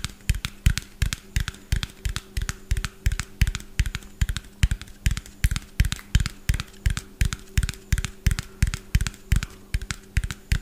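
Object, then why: Small plastic bottle with plastic cap. A small, hollow white plastic bottle with a yellow plastic cap is held in one hand and tapped rapidly with fingernails. The result is a fast, uneven stream of short, dry clicks with a dull low thump beneath them and almost no ring, over a faint steady low hum.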